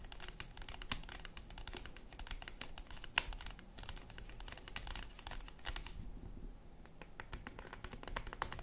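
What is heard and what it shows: Long acrylic nails tap rapidly on a flat yellow cardboard chocolate bar box with the bar still inside, then the box is lifted and handled. The taps are quick, dry, crisp clicks with no ring, over a steady low rumble, with a few louder taps standing out and a brief quieter stretch near the end.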